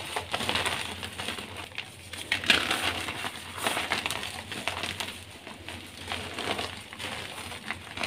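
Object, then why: Block of gym chalk (magnesium carbonate). Soft, sky-blue, homemade dyed gym chalk (magnesium carbonate) blocks and crumbs sit on a pile of blue powder, with pink blocks left untouched at the side, and are crushed and rubbed by hand between bare fingers and palms. The solid, dry, chalky pieces give a steady run of bright, crisp crunches and fine crackling crumbles that end quickly, with little low end. The blocks break down into powder as they are pressed and rubbed.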